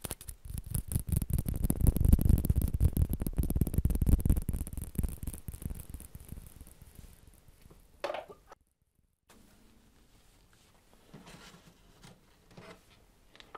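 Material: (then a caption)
Plastic. A celluloid or plastic ping pong ball is tapped quickly and steadily, producing dense, dull, low-heavy clicks that build, then gradually fade over several seconds. After a brief sharper tap and a short silence, a few soft, scattered taps follow.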